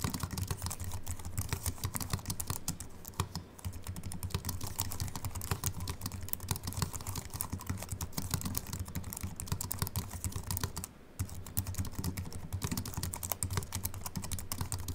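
Both hands type quickly with their fingertips on a slim wireless Apple Mac keyboard with a silver aluminium body and white plastic keys, resting on a wooden desk. The result is a steady stream of rapid, short, dry key clicks with a soft low thump beneath them. Brief pauses break the typing at about 3.5 and 11 seconds.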